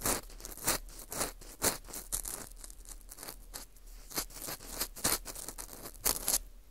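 An orange plastic earpick scrapes inside the hole of a porous dried wheat gluten ring (fu) held in gloved hands. It makes bright, dry, crackly scratching strokes in quick bursts, each dying away almost at once over a faint low hum.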